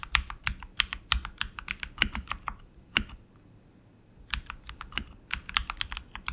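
Both hands type continuously with their fingertips on a tenkeyless RGB mechanical keyboard with tactile switches and plastic keycaps on an aluminum frame. The result is a rapid run of sharp, bright clicks with almost no ring and a light low thump under them. The typing pauses for about a second in the middle, then resumes just as quickly.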